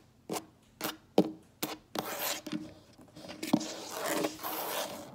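Long nails and fingertips tap and scratch a solid, light wood-look tabletop. Five short, crisp taps are heard first, followed by longer bright scratching strokes with a couple more sharp taps mixed in. The sound is dry and close, with almost no ring.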